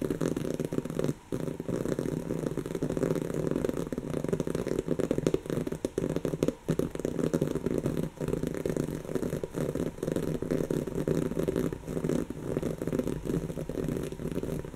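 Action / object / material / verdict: scrape / woven fabric cushion / woven fabric / none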